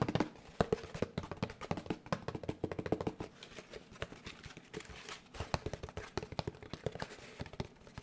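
Fingertips tap quickly on a large molded gray paper pulp packaging tray held upright in front of the microphone. It produces a rapid, uneven run of dull, papery taps with a low-mid body and almost no ring. The taps are stronger in the first few seconds, then continue a bit softer.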